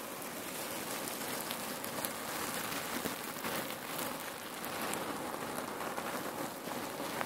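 Hands gather and squeeze a bulging section of a red patterned cotton neck warmer pillow filled with cherry pits, making the pits rustle and shift. A dense, steady, rain-like crackling rustle continues throughout, bright and hissy with little low end.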